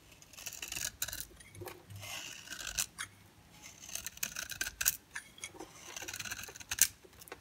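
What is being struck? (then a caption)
Bar of soap scraped with a blade. A utility-knife blade scrapes thick shavings off the face of a solid oval dry bar of soap with a yellow core and black shell, held in the palm. The repeated strokes make crisp, bright scraping and crunching sounds with almost no low end and no ring, separated by brief quiet pauses.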